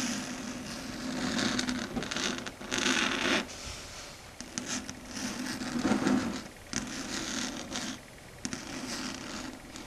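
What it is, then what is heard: Chalkboard. Long red stiletto nail tips tap and scrape across a flat, solid dark grey chalkboard surface. The result is a dense, scratchy rasp with bright hiss and a steady hum-like band near 250 Hz, swelling and dropping in uneven bursts throughout.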